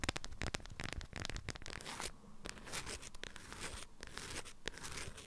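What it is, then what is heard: Beeswax fabric wrap being scratched and crinkled. Long acrylic nails scratch and squeeze a small hand-held bundle wrapped in an orange-print beeswax-coated fabric wrap with stiff, crinkly folds. Dense, rapid crinkling and scraping bursts with a bright hiss come close together, with a brief quieter patch around the two-second mark before the crackling picks up again.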